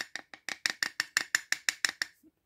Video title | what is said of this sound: Reglette Industrielle 1960 / Partie 1 | là on entend que ça sonne creux donc généralement c'est qu'il ya un condensateur